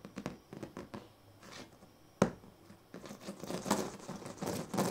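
A pink plastic comb is raked across the ribbed surface of a large, flat woven sleeping mat made of thin purple, green and yellow plastic strips lying on a bed. Short, dry, raspy scratches come first, then one sharp, louder scrape. Denser, more continuous bright scratching follows.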